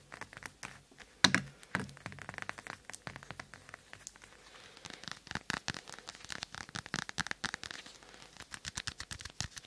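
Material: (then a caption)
Plastic. Long manicured nails tap and scratch a small glossy green plastic ball, a toy ball held in one hand in front of a binaural mic. A rapid series of short, bright clicks and crackly scratches runs throughout, with a louder knock with a low thump near the start. The taps are dry and decay almost instantly over a quiet background.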